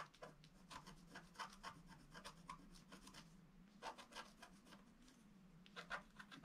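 A wooden stylus scratches a flat black, wax-coated scratch art sheet near some gift boxes, making quiet, bright rasping strokes in irregular bursts. A steady low hum runs underneath, with pauses between the clusters of scratches.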